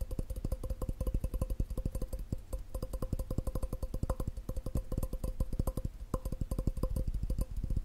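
A glass cup is tapped quickly and steadily with the fingers for about eight seconds. Each tap is a short, dull thud with a faint ringing tone around 530 Hz and a light bright click on top, fading almost instantly.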